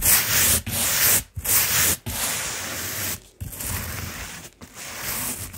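A round, flat, solid coiled jute or sisal rope placemat lying on carpet is brushed with small stiff-bristle scrubbing brushes, first a blue-handled brush and then a dark-backed one. Bright, hissy, scratchy bristle strokes rub across the rope in long passes, separated by brief quiet gaps.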